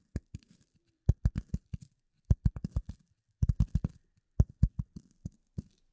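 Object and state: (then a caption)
Polyethylene foam sheet. A rectangular gray polyethylene foam sheet, held in front of the microphone, is tapped and scratched with the fingertips and nails of both hands. The result is quick runs of dull, low, deep thumps that die away almost instantly, with faint bright scratchy edges. The taps come in several separate bursts with short silent gaps between them.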